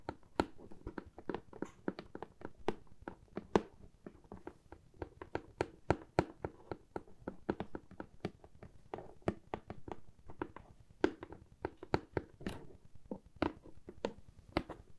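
A medium brown corrugated cardboard box printed with AMY, hollow and held in the hands, is tapped and scratched with long nails. Quick, dry, hollow taps with a mid-range body die away almost instantly, repeating in an uneven, steady rhythm. Softer scratching fills the gaps between them.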